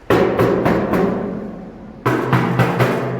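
A used stainless steel kitchen shelf made from thick 1.2 mm sheet is knocked in two quick runs of knocks. Each strike gives a solid, low "peng" ring that hangs for nearly a second. The ring marks the shelf as heavy and sturdy, not a thin, lightweight or flimsy assembled unit.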